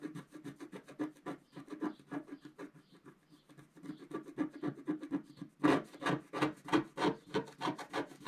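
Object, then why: Coated scratch-art card scraped with a wooden stylus. A wooden stylus scrapes a flat black coated scratch-art card, revealing the gold layer underneath. Quick, uneven scratchy strokes repeat about three times a second, soft and light at first, then louder and denser over the last few seconds.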